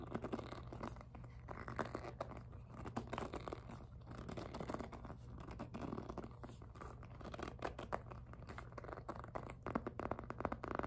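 Long nails scratch, tap and grip the glossy surface of a hollow pink jelly PVC handbag, making dense, rapid scratchy crackles and soft taps. A steady low hum runs underneath throughout.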